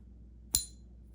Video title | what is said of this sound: Fake $5k Gold Coin Ruined Her Stack! Father Scammed Out of $1,000's!🔥🚨 | Listen how bad these sound